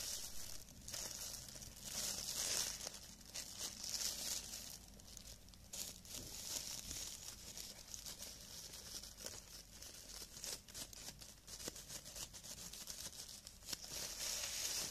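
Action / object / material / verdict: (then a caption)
scrape / thin cellophane plastic film gloves / plastic film / none. Clear, thin cellophane plastic film gloves are worn on both hands while the palms and fingers move and rub together, crumpling the film. The result is a steady, bright, crackling crinkle with irregular sharp snaps and very little low end, swelling and easing as the hands move.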